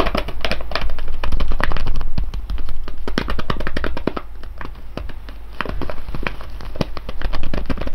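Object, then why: Foil coffee bag of coffee beans. A full, sealed silver foil coffee bag of whole beans rests on cloth while fingertips tap and scratch along its top seam, then both hands press down on the bag. The result is a dense run of sharp, dry crinkling taps and scratchy crackles over a steady low hum.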